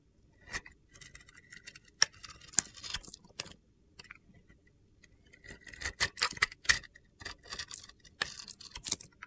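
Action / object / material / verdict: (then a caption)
scrape / bar of soap / soap / none. A hand with long red nails holds a solid, palm-sized pink glitter bar of soap while a metal box-cutter blade scrapes the coating off it. The blade makes bursts of crisp, bright, gritty scraping and sharp ticking clicks, separated by brief quiet pauses.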